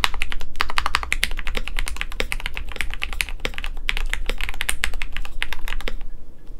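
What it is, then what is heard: Mechanical keyboard with PBT keycaps. Both hands type rapidly and continuously with their fingertips on a KBD67 Lite compact 65% mechanical keyboard with lubed Gateron Yellow switches, a white plastic case, a polycarbonate plate and PBT keycaps. A dense, uneven stream of short, sharp, bright clacks with almost no ring rides over a steady low hum. The typing stops just before the end.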